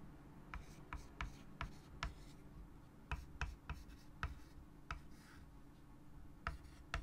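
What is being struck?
Chalk on a wood-framed chalkboard.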